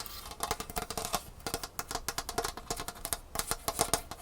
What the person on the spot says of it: it's just plastic it's not actually metal like it looks